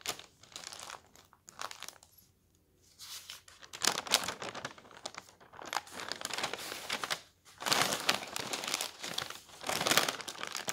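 A palm rubs across a large paper newspaper sheet, then the hand lifts and turns the page. Dry, bright crinkling and rustling comes in bursts of varying loudness separated by brief near-silent pauses, with almost no low end.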